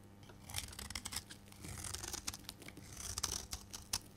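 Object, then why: Bar of soap cut with a metal blade. A solid, rectangular, dry green bar of soap held in the hand is shaved with a metal blade, curling off flakes. Crisp, bright scraping and cutting strokes come in quick, uneven bursts, each ending in a short, dry crackle over a faint, steady low hum.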